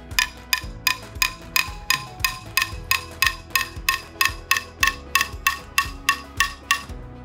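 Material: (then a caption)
Ceramic. A spoon is tapped 21 times, at a steady pace, on the side of a ceramic mug of hot chocolate that has just been stirred into a bubbly froth. Each tap gives a short, bright clink around 1.1 kHz that dies away quickly.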